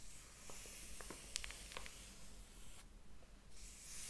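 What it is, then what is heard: Paper book pages being rubbed and flipped. Fingertips rub the paper page of a large, thick hardcover book lying open on a table, then flip it. Quiet, soft rustling and faint ticks rise into a few brief, bright, crisp paper sounds, over a steady low background hum.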